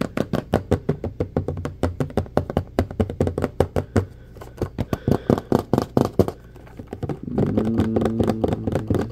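Fast fingertip and nail tapping on the body and label of a medium orange plastic drain-cleaner bottle with a handle and black cap, apparently full of gel. The taps are dull, low-pitched and close-spaced, with quick, short knocks that pause briefly midway. Near the end they run together into a steadier, humming rumble.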